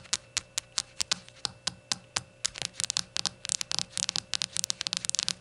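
Long nails tap a small, hollow, empty glazed ceramic shot glass on its unglazed white base, its glossy glaze and its open rim. Sharp, bright clicks with almost no ring start as evenly spaced taps, then quicken into faster, denser clusters of tapping.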